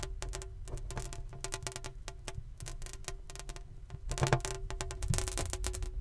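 An inflated, medium-size green rubber (latex) balloon, hollow and air-filled, is held in both hands close to the mic and tapped quickly with fingertips and nails. The result is a dense run of short, dry taps with a soft low thump and bright nail clicks over a faint steady tone. The tapping grows louder and busier in the second half.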